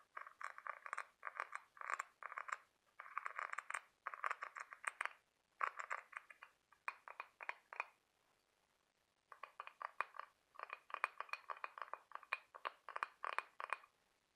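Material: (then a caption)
Shell. Fingertips and nails of both hands scratch and tap across the ribbed surface of a large, hollow, white scallop half-shell. Rapid bursts of dry, brittle clicking and scratching sit in the midrange with no low end, and each tap dies away almost instantly. The bursts pause briefly near the middle before resuming just as busily.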